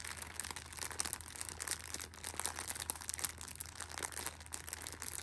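A Shopkins pocket tissue six-pack in clear plastic film is held in the hand while the film is squeezed and scratched with a thumb and a red nail. This gives a dense, continuous stream of bright, crackly crinkles and scratchy snaps. A faint steady low hum sits underneath.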